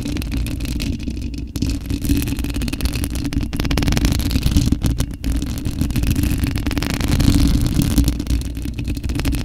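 Long acrylic nails scratch and tap with both hands across the perforated metal mesh grille of a large white, hollow condenser microphone with no foam cover. The result is a dense, continuous, boomy rumble heavy in the low end, with a steady hum-like tone near 280 Hz and only faint high scratchy detail.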